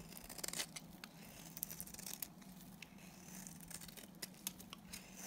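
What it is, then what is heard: Dry soap bar being shaved with a blade. A dry, solid pink oval Timotei soap bar with red inclusions, held in the hand, is shaved with a box cutter blade. Crisp, bright scraping and crackling cuts come in quick irregular bursts over a quiet, steady low hum.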